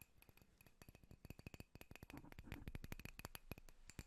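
A drinking glass holding apple juice is tapped rapidly, giving a quick run of light, clicky taps with a dull low thump and almost no ringing. The tapping grows slightly louder and denser toward the middle and end.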